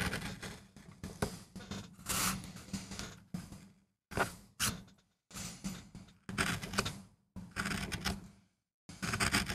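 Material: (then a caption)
MDF. A steel gouge with a wooden handle carves a small, flat, solid MDF relief printing block with a dark-inked surface, lying on a textured mat. Repeated dry, bright scraping and gouging strokes come in bursts separated by brief silences as wood chips lift off.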